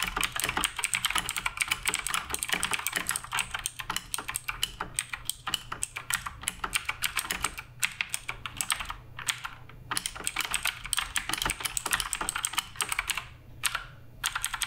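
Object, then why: Mechanical keyboard with plastic keycaps. Continuous fingertip typing on the plastic keycaps of a black RGB Redragon K588 Broadsword mechanical keyboard produces rapid, bright, crisp key clicks with very short decay. The keystrokes run densely together with a few brief pauses and little low-end weight.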